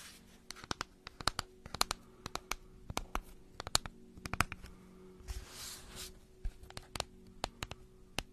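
A long pink cardboard gift tube printed with a mandala pattern, hollow with closed ends, is held horizontally and scratched and tapped with long nails. Many sharp, dry taps and clicks are heard, broken by a brief bright scratching swish in the middle, all over a faint steady low hum.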